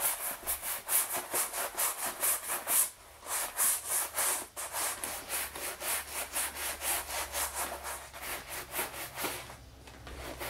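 A wooden-backed bristle brush is rubbed in quick back-and-forth strokes over the flap and pocket of a medium, soft black leather shoulder bag resting on a wooden chair, as part of restoring the purse. The strokes make a steady, rhythmic, bright scratchy brushing rub with brief pauses, then fade out near the end.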